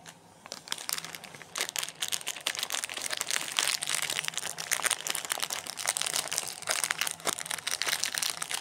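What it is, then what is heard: Plastic-wrapped chocolate bar. Fingertips and short nails press, rub and crinkle the ends of the glossy plastic wrapper on a small, solid, sealed Kinder Bueno chocolate bar lying on a granite counter. The clip is a dense run of sharp, bright crackles and crinkles with no low end. It starts quiet, then turns into steady, rapid crinkling that keeps going to the end.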